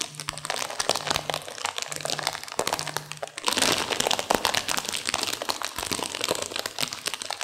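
A sealed plastic instant-noodle packet with dry noodles inside is squeezed and crunched by hands and long nails, producing dense, bright crinkling and crackling with sharp snaps. The crunching grows louder and fuller from about halfway through, and a faint low hum repeats in short bursts during the first half.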